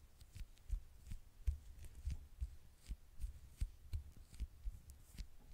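Long nails tap and scratch the dark glass screen and gold edge of a small, flat smartphone held in the hand. The result is a quiet run of quick, dull, low thuds with faint, bright ticks and scratchy hiss between them, and each tap dies away almost instantly.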